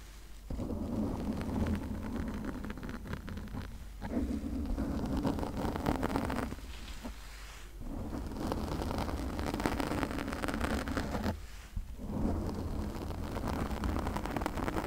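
Long nails scratch and rub the surface of a pink foam windscreen on a condenser microphone. The result is a dense, rumbling, crackly scraping heavy in the low end, broken by brief quieter pauses near 4, 7.5 and 11.5 seconds.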